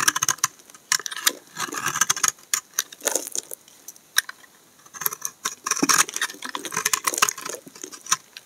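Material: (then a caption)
Soap. A utility knife blade scrapes curled shavings off the edge of a solid tan brown laundry soap bar held in hand. Quick, dry, crisp scraping strokes come in irregular bursts with bright high content. Each stroke cuts off sharply with no ringing.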